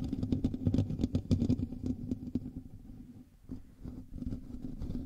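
Fingertips and nails of both hands scratch the hollow metal mesh grille of a black microphone in direct contact with the recording mic. This produces a dense, rapid, low-heavy scratching and rustling with a boomy thump under each stroke. The sound is busiest in the first two and a half seconds, dips quieter around three seconds, then picks back up.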